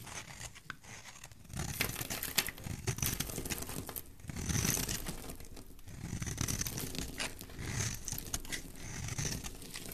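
A utility knife blade carves a solid oval pink-and-white striped soap bar, producing continuous crisp scraping and crumbly crunching as shavings peel away. The strokes come in swelling passes, with a bright, papery hiss over a soft low thud.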